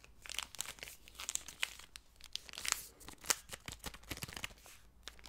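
A single Snickers chocolate bar in its plastic wrapper, small and solid inside, is crinkled and rubbed by fingertips, possibly tearing the wrapper. Quick, bright crackles and rustles sound in dense bursts with short, dry peaks throughout.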